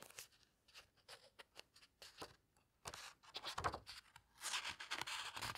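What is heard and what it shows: Long-nailed fingers turn and press the thick glossy pages of a large hardcover book. Quiet, irregular bright clicks and papery ticks come first, followed by louder sweeping rustles and crinkles as the pages are turned and squeezed.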